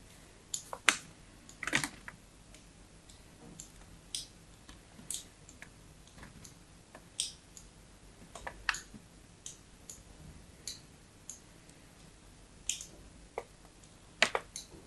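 A small metal blade scratches and scores lines across the face of a solid white bar of soap with an embossed logo, held in the hand. About twenty short, crisp, bright scraping clicks come at irregular intervals over a quiet background, each dying away almost instantly.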